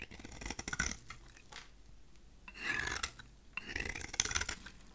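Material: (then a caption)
Soap. A solid, rectangular, cream-colored dry soap bar is held in the hand while its corners and face are shaved with a utility knife blade. Three bursts of crunchy, bright scraping cuts come through, separated by quiet pauses.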